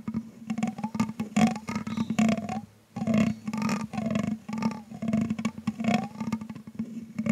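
The tip of a thin grey stick repeatedly scratches and taps the hollow metal mesh grille of a microphone with a green LED while the other hand holds the stand. Quick, dry ticks and rough scraping sweeps ride over a steady low hum, with the scrapes bending up and down in pitch. There is a short quiet gap just before the three-second mark.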